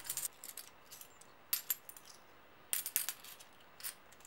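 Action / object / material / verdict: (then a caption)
shake / small stack of metal coins / metal / none. A small stack of solid brass-coloured metal coins held in an open palm is shuffled and clinked together by the fingers of the other hand, so the coins jingle against each other. Quiet, bright metallic clinks and chinks arrive in irregular bursts. Each dies away almost at once, with little low end beneath.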